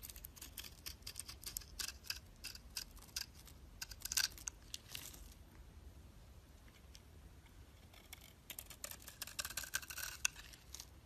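A utility knife blade scrapes layered flakes off the face of a solid cream bar soap held in the hand. The result is crisp, bright, dry scratching in quick bursts, busy for the first five seconds, quieter through the middle, then returning near the end over a faint low hum.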